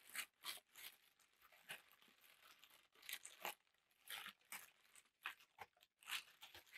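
A large sheet of thin black packing tissue paper is lifted, crumpled and stretched out by hand. It gives bursts of bright, crisp crinkling with short pauses between them.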